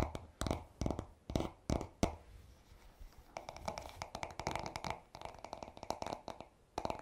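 Short nails tap and scratch the smooth, solid wooden back of a paddle hairbrush, starting with several separate, sharp knocks with a dull low body and quick decay. A stretch of soft, quiet scratching follows. It ends in a denser run of rapid, brighter taps and scrapes mixed together.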